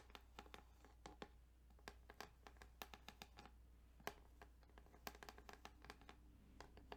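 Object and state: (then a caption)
Plastic game cartridge. Fingertips tap and scratch along the ridges of a plastic Tetris Game Boy cartridge, making a quiet run of sharp, bright clicks and light scraping. The short ticks come in uneven bursts over a steady low hum.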